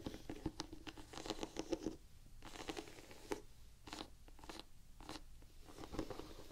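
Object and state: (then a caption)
Rubber shoe sole. Long painted fingernails scratch and tap across the white, textured rubber waffle-pattern tread of a solid Vans canvas sneaker sole held up in the air. Quiet, dry scratching rasps and soft clicky taps come in bursts with a low-mid body and brief bright edges, each dying away almost instantly.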